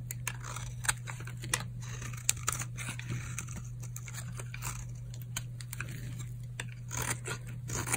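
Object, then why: Bar of soap cut by a metal blade. A metal blade shaves and scrapes flakes off an old, hard, dried solid purple soap bar held in the palm. Short, crisp, crunchy scraping and crackling bursts come one after another, with bright edges, over a steady low hum.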